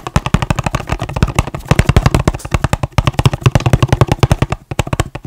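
A small, hollow, red and white printed cardboard product box is held in one hand close to the microphone and tapped quickly with the fingertips and nails of the other hand. It gives a fast, uneven stream of dozens of short, dry, hollow thumps with a deep low body, and each tap carries a faint bright click and dies away almost instantly.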